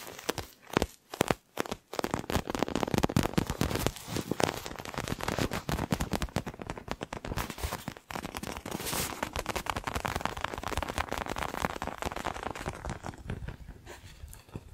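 Fingernails scratch and tap the panels of a small pink and purple faux leather toy ball held in both hands. A few separate taps open the clip, then a dense, continuous crackling scratch follows, full of rapid dry clicks that fade slightly toward the end.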